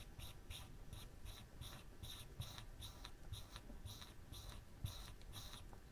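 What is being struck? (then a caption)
Plywood board scraped by a hot wire pen tip. A woodburning pen's wire tip is scratched in short strokes across a flat, thin plywood panel while burning the nose of a drawing. The result is a quiet run of repeated dry, scratchy strokes with bright hissing edges over a steady low rumble.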